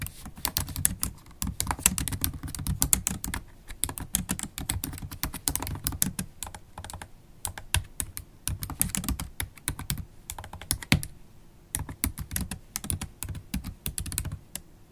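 Rapid typing with long pointed acrylic nails on a MacBook Pro keyboard, with black plastic keys set in an aluminum laptop body. Dense bursts of sharp, bright clicks and taps over a soft low thump, with brief pauses between runs of keystrokes.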